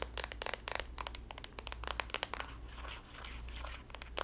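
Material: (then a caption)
Soft plastic. A green printed soft plastic squeeze tube of body lotion with a white cap, apparently filled, is tapped, scratched and squeezed with long nails. It gives quick clicky taps and crinkly plastic scratching over a steady low hum.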